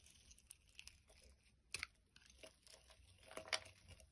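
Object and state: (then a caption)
Bar soap being carved. A metal blade carves curls from a solid orange bar of soap, making quiet, bright, crisp scraping and crackling. Two sharper cracks stand out near the middle and near the end.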